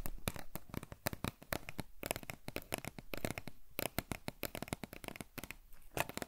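Long fingernails rapidly tap and scratch a tall, hollow cardboard potato chip canister with a printed label, likely holding chips, held in the hands. The result is a quick, uneven run of dry, short clicks with a low hollow thump beneath and bright scratchy edges, each tap dying away almost instantly.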